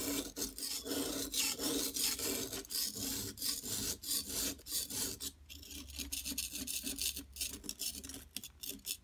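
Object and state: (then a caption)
Plaster block scraped. A flat blade scrapes the top surface of a large, solid yellow plaster gold-bar dig block held in a hand with long nails, shedding yellow powder. Quick, uneven strokes produce a bright, dry, rasping scrape that repeats rapidly with short gaps, with little low end.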